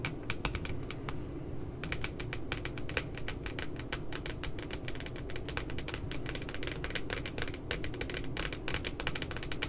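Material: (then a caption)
Paper. Long glitter nails on both hands tap quickly around a picture of two puppies on the glossy paper cover of a spiral notebook. The taps are dry, bright clicks with almost no ring, arriving in irregular clusters with a short pause near the start. They sit over a steady low rumble throughout.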